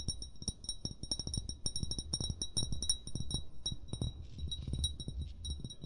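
An upright, hollow amber (brown) glass bottle, its fill level unseen, is tapped rapidly with short fingernails and fingertips. The taps make quick, bright glassy clinks over soft low thumps, and each one rings briefly at a high pitch and fades almost at once.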